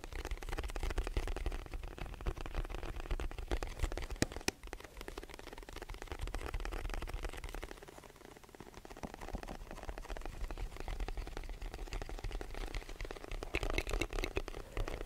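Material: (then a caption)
Cardboard. A medium white rectangular cardboard box, hollow, is held in both hands and tapped and lightly scratched with fingertips and short nails while being moved around the microphone. Quick, uneven taps give dull, low hollow thuds over a continuous scratchy rustle, with a couple of sharper clicks near the middle. The loudness swells and fades as the box moves closer and farther away.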